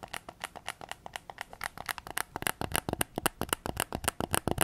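A white PS5 controller is held in both hands with its back facing out while fingertips and nails tap its hollow plastic shell and triggers. Around 34 quick, dry, clicky taps follow one another in an uneven rhythm, with bright plastic ticks and almost no ring, growing slightly louder and sharper toward the end.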